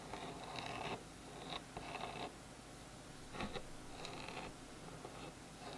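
Fingertips and nails scratch and tap the surface of a small solid bamboo wood phone stand lying on a table. Soft, dry, bright scratching comes in short bursts separated by quiet pauses, with light taps in between.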